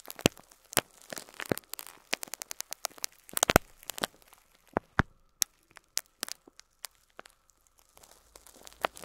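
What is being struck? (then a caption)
Plastic bag holding plastic pearl beads. Fingertips pinch and crinkle a clear plastic bag of loose cream faux pearl plastic beads, up close. Dense, sharp, crackly crinkles and small clicks come in uneven bursts, bright with little low end and almost no ring, and the busiest cluster lands around three and a half seconds.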